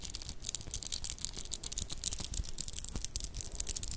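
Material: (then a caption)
Metal, shell. A stretchy child's dress-up bracelet of small solid metallic cube beads and dark shell chips is held in both hands close to the mic and rolled and clacked with fingertips and medium purple-painted nails. It makes a dense, continuous stream of quick, bright clicks and rattles with a soft low rumble underneath, and each click dies away almost instantly.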